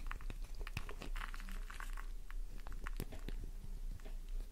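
A solid pink flower-shaped bar of soap held in the palm is scratched fast with long nails, leaving shavings on the surface below. It makes a quick, uneven run of dry, crunchy scrapes and sharp little clicks.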